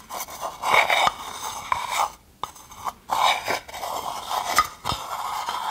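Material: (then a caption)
Wood. A wooden spoon scrapes along the inside and rim of a hand-sized, hollow, empty, dark polished wooden bowl, and long nails scratch its outside. Dry, raspy scraping strokes come in uneven bursts centred around 1 kHz with a bright, hissy edge, separated by brief quiet gaps and a few sharp clicks.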